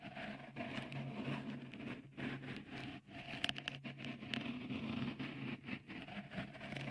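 Fingertips tap and scratch a small, hollow, white, dimpled microphone cover, likely textured silicone, fitted on the right capsule of a Tascam recorder. Soft, close patters and bright crackly scrapes come in uneven bursts over a steady low hum. Each touch dies away almost instantly.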